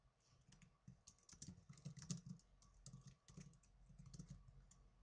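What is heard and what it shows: Fingertips with blue nails type on the plastic keys of a small black plastic netbook keyboard. It's a quiet, steady run of soft, clicky taps: each has a low thud and a bright, crisp tick that dies away almost instantly. The pace is uneven, with a few louder keystrokes standing out.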